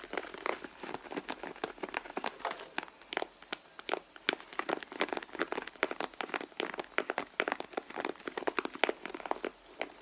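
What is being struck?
Leather handbag.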